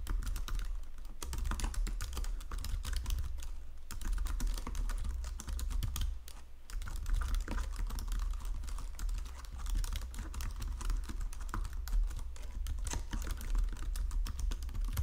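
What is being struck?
Plastic computer keyboard.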